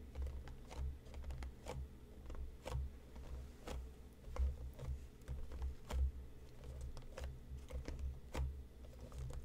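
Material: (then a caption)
Cardboard. Fingernails tap rapidly on top of a hollow, hand-sized printed cardboard tea box resting on a cutting mat. Short, sharp, irregular clicks fall over a steady low rumble, each dying away almost at once.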